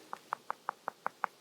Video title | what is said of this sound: The Developer | Solid rock. No, no hollow sound.